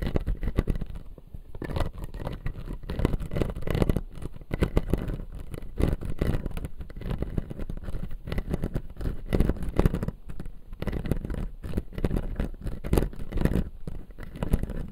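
Fingertips and nails tap and scratch the front teeth of a clear acrylic dental model with white plastic teeth. The result is a continuous run of quick, dense clicks and scrapes with a low, thumpy body and a faint bright hiss, pulsing unevenly through the clip.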